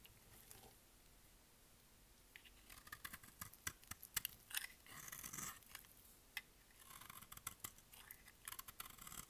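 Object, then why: Bar of soap. A solid, rectangular, dry white bar of soap with embossed lettering is held in the hand and shaved with a utility knife blade. After a quiet start, the blade makes crisp, bright scraping and cutting sounds, with sharp ticks and short rasping bursts as thin curls come off the bar.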